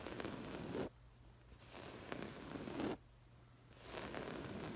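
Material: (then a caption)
Woven fabric. Long pale-green acrylic nails on both hands scratch across a stuffed cushion or pillow covered in textured, jacquard-like woven fabric with a floral pattern, the hands moving partly out of frame. Three stretches of dense, crackly scratching, resembling a zipper, are separated by two short near-silent pauses.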